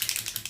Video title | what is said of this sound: Candy Enamel Jewelry Class + Curated Charm Bundles | if it's been sitting a while and you don't hear that little clicketity clack when you're shaking it